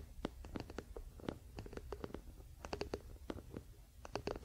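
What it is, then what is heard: Wooden paddle hairbrush, solid wooden back. Fingertips and nails of both hands scratch and tap the solid wooden back of a wooden paddle hairbrush with pin bristles, near the handle, as it lies on a blanket. The result is a quiet, uneven series of short, dry wooden taps with brief bright clicks, over a soft low rumble and faint scratching.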